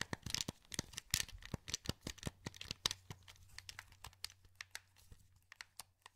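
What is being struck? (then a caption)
Hollow plastic game controller. A hand-sized, hollow, translucent blue plastic wireless PS2 game controller is held in both hands while thumbs and fingertips click the buttons and move the thumbsticks. A quick, uneven run of about 26 short, bright plastic clicks and taps sounds over a faint low hum, with soft scratchy rubbing between them that fades toward the end.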